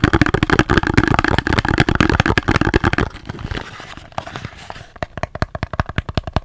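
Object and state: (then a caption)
Cardboard box, tapped. Fingers tap on the cardboard box of a bar of soap in quick, uneven bursts of short, dry, hollow knocks. The first three seconds are dense and fuller-sounding; the tapping then turns softer and sparser before ending in a run of crisper, separate taps.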